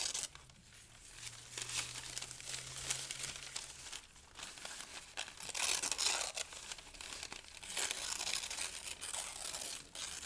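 Thin pale-green paper sheets and strips are crumpled and torn by the fingers of both hands. The result is a dense, bright crinkling and crackling with sharp tearing rips that swell and fade across the clip, and almost no low end.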